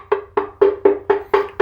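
Seven taps on a ceramic wall tile on a tiled splashback, checking for hollow spots behind the tile. Each tap gives a short, hollow knock with a clear tone around 400 Hz that dies away quickly. This section sounds very hollow, so it should not be drilled.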